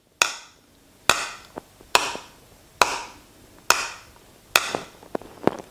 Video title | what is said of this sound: Le son des membranes - Les croyances en audio | ça fait un petit bruit sourd qui reste pas longtemps